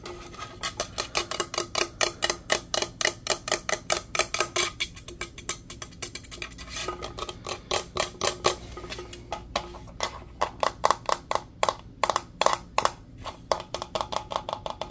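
Fingernails tap quickly on the body and straw lid of a hollow, teal powder-coated steel insulated tumbler, making about 66 sharp, bright clicks with a ringing tone near 1.1 kHz. The taps fall in a fast, steady run at first, then grow louder and more spaced out in the second half, each one dying away almost instantly.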